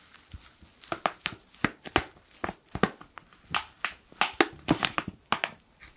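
A black foil coffee pouch is crumpled and squeezed with fingertips, giving about twenty sharp, bright crinkling bursts in an irregular rhythm. Each crackle is short and dry, with little low end, and stops almost at once.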